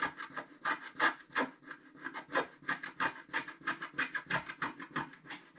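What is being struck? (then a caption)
Wooden stick scraping black-coated scratch-art paper. A wooden stick scrapes the black coating off a flat scratch-art sheet, uncovering the red body of a stocking. It makes a steady run of short, dry rasping strokes, about three per second, with a bright scratchy texture centred around 1.7 kHz and almost no low end.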